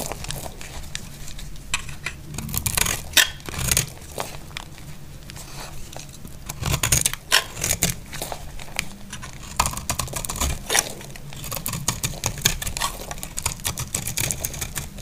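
A solid, dry, amber translucent bar of soap is held in the hand over flakes and scraped with a utility blade. Repeated crisp, bright scraping and crackling strokes come in uneven bursts over a faint low rumble.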